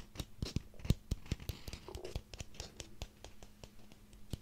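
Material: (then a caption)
Pumpkin rind. A small ribbed orange pumpkin is held in one hand while the fingernails of the other hand scratch and tap along its ribs. A quick, irregular series of sharp, dry taps and clicks sounds over soft scratching, each tap dying away almost at once, with a faint steady low hum underneath.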